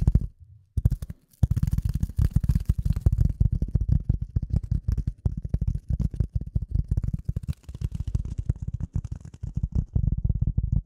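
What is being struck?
Polyethylene foam sheet.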